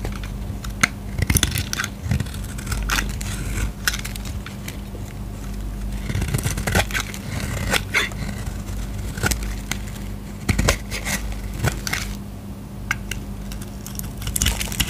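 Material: Soap.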